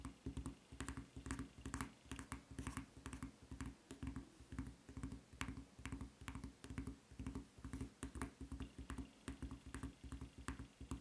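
Long nails tap on the footbed of a white rubber flip-flop with a red print and strap. The result is a quick, unevenly spaced run of short, dull taps with a low, thumpy body, a faint bright click on top, and almost no ring after each hit.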